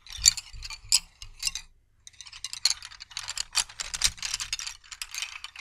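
A bundle of solid wooden colored pencils, held upright, is rubbed and rolled together between the fingertips, making a dry, ratcheting wooden clatter. Short, bright bursts of clicking come in quick clusters, pause briefly, then return in a denser, steadier rattle.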